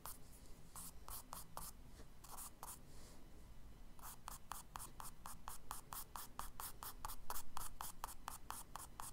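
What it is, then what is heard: Charcoal hatching on kraft paper. A charcoal stick scratches and hatches across a tan kraft paper page of a spiral-bound sketchbook lying flat, drawing bushes. Quick, bright scratchy strokes repeat in a brisk rhythm, easing into softer rubbing for a moment before settling into a faster, steady run of hatching over a low, constant hum.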